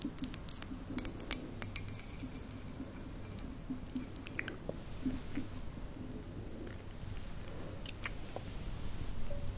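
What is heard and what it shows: Long nails tap quickly on the side of a hollow white ceramic mug with a lid, making sharp, bright clicks that die away almost instantly. The taps are crisp and loud at first, then grow softer and sparser over a steady low hum as the nails lift off the mug by the end.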